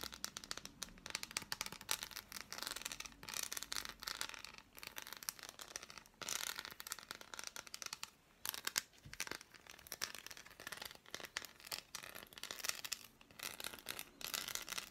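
Long black-painted nails tap and scratch an unwrapped solid dark chocolate bar with embossed squares, held in the hands. The result is a dense run of quick, dry clicks and bright scratchy rasps, with almost no low end, coming in bursts separated by short pauses.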